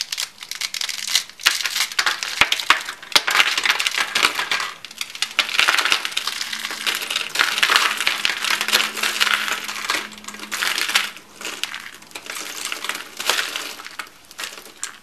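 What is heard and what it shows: A peach-colored rolled curl of thin, dry soap, a hollow coil, is crushed in the hand into flakes that are then rubbed between the fingers. Dense, bright, dry crackling and crunching comes in bursts with brief lulls, full of sharp little snaps that die away almost instantly.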